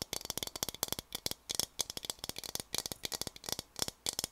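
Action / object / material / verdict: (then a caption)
tap / ridged plastic water bottle / plastic / none. Fingertips and nails rapidly tap and scratch the textured surface of a large, blue, translucent, ridged plastic water bottle that is hollow, apparently empty, and held in both hands. A quick, uneven run of short, bright, clicky taps sounds with very little low end. Each tap dies away almost instantly, giving a dry, rattling patter.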